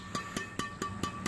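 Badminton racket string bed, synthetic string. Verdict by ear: Tight.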